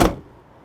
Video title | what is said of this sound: THESE door window vents are brilliant | it sounds solid if they're not moving not going anywhere